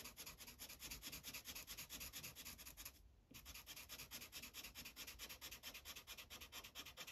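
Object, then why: Felt-tip marker on a paper sheet on a hard clipboard. A yellow felt-tip marker rubs over a thin printed paper coloring page resting on a hard clipboard in fast back-and-forth coloring strokes. The result is a steady, rhythmic, bright scratchy hiss at roughly two strokes per second, with a brief pause near the middle before the strokes resume.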